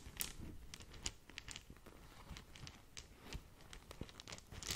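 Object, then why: Satin fabric gift bag. Long nails scratch and scrunch a small green polka-dot satin/organza gift bag tied with a ribbon. The result is a steady run of soft, bright crinkling and scratchy rustles, with sharper crisp bursts near the start and end over a faint low rumble.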